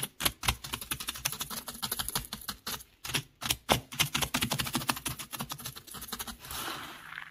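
Fingertips tap and scratch into a bed of beach gravel with small loose pebbles and shell fragments, making rapid, bright, dry clicks and rattles. A brief pause near the middle separates the two bursts of tapping. The clip ends in a softer, hissy scratching rustle.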